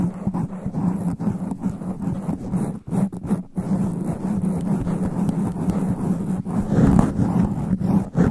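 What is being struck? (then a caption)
Foam microphone windscreen. Long black nails scratch fast and aggressively across a sponge foam microphone windscreen, making a dense, muffled rustling and scraping. The sound is heavy and low, with a steady hum-like body near 170 Hz and almost no bright content. It runs continuously except for brief dips around the three-second mark.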